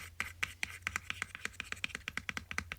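A George Orwell collection book is tapped and scratched, giving about 20 quick, dry, bright taps in fast succession. Each tap dies out almost at once over a faint steady low hum.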